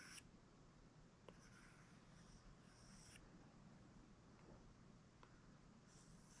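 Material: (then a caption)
Glass. A plastic stylus held in the fingers draws wavy strokes across the glass touchscreen of an iPad, a flat solid device, its tip scraping and tapping the glass. Two light taps stand out against a quiet, steady low background. Soft, bright scratching swishes come and go as the lines are drawn.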